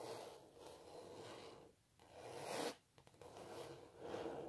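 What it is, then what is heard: Canvas painting being scratched. Long natural nails scratch and rub across the textured paint surface of a large stretched canvas print of a cellist. The result is a steady, dry scratchy rasp centered in the mid-range with a bright hiss on top, broken by brief quiet pauses between strokes.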